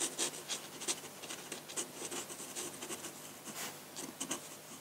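A metal dip pen nib scratches ink strokes onto a large, flat sheet of white drawing paper. The result is a quiet series of short, bright, scratchy strokes with almost no low end, each fading quickly.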